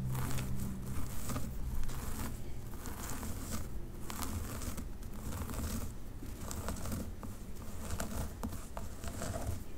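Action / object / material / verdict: scrape / synthetic wig hair on a mannequin head / synthetic hair / none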